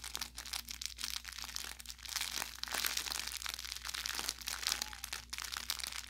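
An orange velour plush carrot cat toy with crinkle filling is held in both hands and squeezed and rubbed with fingers and thumb. This produces continuous bright crinkling and crackling with quick, short pops throughout. A faint low hum sits steadily underneath.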